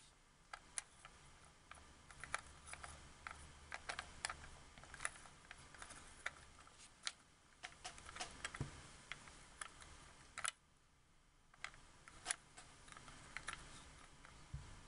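A painted nail and fingertip click and tap the thumbstick and buttons of a hollow, white hard-plastic wireless Xbox 360 controller. Quiet, sharp, bright clicks and taps come in an irregular stream, each dying away almost instantly over a faint low hum. The clicking pauses briefly around the ten-second mark.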